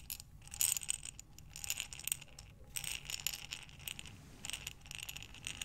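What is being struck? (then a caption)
Glass jar filled with buttons. A glass mason jar with a metal lid, full of buttons, is tilted and rolled in both hands. The buttons rattle and clatter against the glass in a dense, bright, continuous shuffle. Louder bursts come and go as the jar turns.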